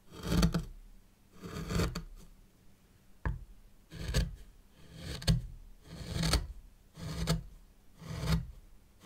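A white plastic stick or rake drags lines through fine sand in a small hexagonal zen garden tray. Soft, grainy rasping scrapes swell and fade in repeated strokes, with a brief sharp tick partway through. The sound stays mostly low and muffled, with quiet pauses between strokes.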